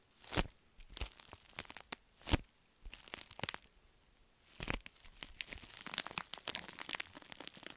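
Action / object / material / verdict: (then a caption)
scrape / metallic foil padded envelope / metallic foil / none. A crumpled pink metallic foil padded bubble mailer is rubbed and crinkled with the fingers and nails. Bursts of bright, crackling crinkles and crunches come in irregular clusters, separated by short quiet gaps. Each crackle ends sharply.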